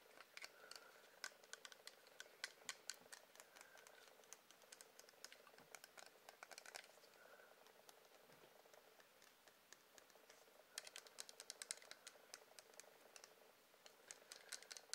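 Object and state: Wax pillar candle tapped with nails.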